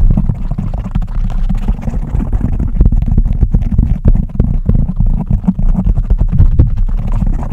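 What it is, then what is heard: Foam microphone windscreen being scratched. Fingertips and nails of both hands scratch and rub the black foam windscreen covering a large microphone. The result is a dense, muffled, low rumbling scrape that stays at a steady level with small bursts throughout, with almost no high-frequency content.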